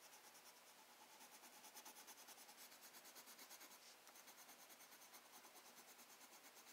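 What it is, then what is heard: Pencil shading on sketchbook paper. A black wooden colored pencil tip, held in the fingertips, rubs back and forth across a thin, flat sheet of spiral-bound sketchbook paper while shading. The result is a steady, rhythmic scratchy rasp of quick strokes, about three per second, with a bright, hissy texture and a brief pause near the middle.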